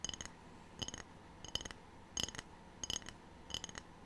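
A ceramic tray is tapped repeatedly, with six short bursts of quick clinking taps spaced roughly evenly apart. The taps are bright and glassy, with a ringing tone near 3 kHz that dies away almost at once over a quiet background.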